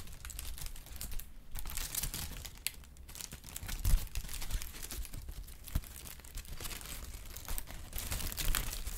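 A brown kraft honeycomb-cut packing paper sheet is held up, then crinkled and rubbed with fingertips. Continuous crisp crackling and rustling comes in uneven bursts, with sharp bright snaps over a steady low rumble.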